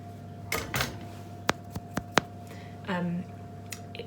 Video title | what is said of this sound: Apricot and Ginger Biscuits | it's got quite like a hollow sound in the middle which means that it's cooked